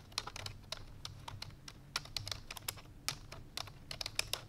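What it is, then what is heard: Plastic computer keyboard. Fingertips with long painted nails rapidly press the keys of a full-size black plastic computer keyboard resting on a white fur rug. The result is fast, uneven typing: a dense run of short, bright, clicky taps that stop instantly with no ring, over a faint low hum.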